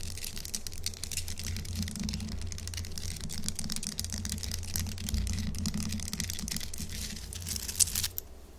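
Long acrylic nails on both hands rapidly tap and scratch a large, solid chunk of pink Himalayan salt. The result is a dense, fast stream of bright, crisp clicks and scrapes over a steady low hum. The activity stops with a sharp final tick just before the end, and the sound drops off quickly.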